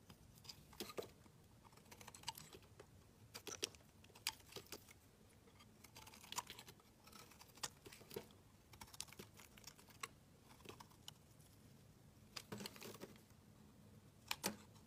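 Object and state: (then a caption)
Bar of soap being carved. A metal utility knife blade scrapes and shaves a solid dark grey bar of soap, curling off shavings. Quiet, crisp, bright scraping strokes and short ticks come in irregular bursts, with a faint steady low hum underneath.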